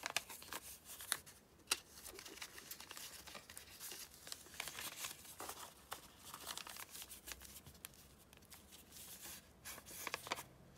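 Fingertips and long manicured nails fold, crease and rub a single small, thin, hollow floral-print folded paper envelope held on a green cutting mat. Quiet, bright paper crinkling and rustling is punctuated by sharp, short crackles and snaps from the creasing, with almost no low end.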